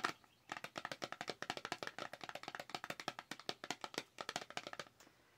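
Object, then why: Small cardboard box tapped with fingernails. A hollow, small white cardboard Dewy Skin cosmetics box is held up and tapped rapidly with long acrylic nails. It makes a quick, dry run of bright clicking taps with very short ring. After one opening tap and a brief pause, the taps keep up in fast irregular bursts and stop near the end.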